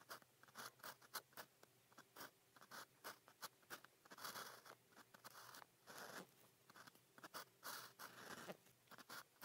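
A fine pen nib, held in the fingers, writes on a flat cream sheet of grid paper in continuous scratching strokes. Quick, bright, dry scratches come in clustered bursts, with a few longer rasping strokes between them, over a quiet background.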